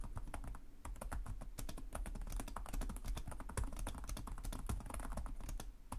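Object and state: Laptop keyboard typing.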